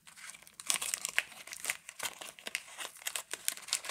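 A Camay Natural soap bar wrapped in paper is handled and crinkled with fingertips and long nails, then its paper end flap is pulled open and torn. The sound is a dense run of bright, crisp crinkles and rustles, with short sharp snaps spread across the clip and almost nothing in the low range.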